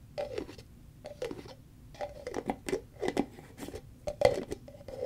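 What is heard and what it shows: Long fingernails tap and scratch across the body and green plastic screw lid of a large white Cetaphil cream tub made of plastic. The result is clusters of quick, dry, hollow-sounding clicks with a mid-pitched tone around 500 Hz and light scratchy texture, each sound dying away almost instantly.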